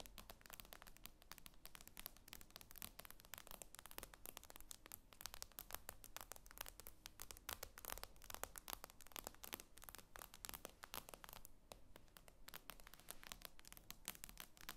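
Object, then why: Tablet with glass screen. Long acrylic nails tap and scratch across the glossy glass screen of a tablet lying flat on a table. The result is a quiet, dense stream of fast, dry clicks and bright scratchy scrapes that stop instantly, over a steady low hum.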